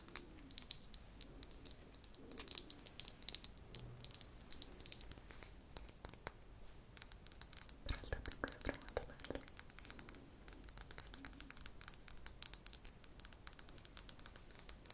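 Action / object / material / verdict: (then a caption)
scrape / small glass cosmetic jar with plastic screw lid / glass / none. A small round cosmetic jar, seemingly of frosted glass with a blue plastic screw lid, is held close and tapped and scratched with long acrylic nails. Quiet, rapid, crisp clicks and bright scratchy strokes run continuously, each tap dying away almost instantly.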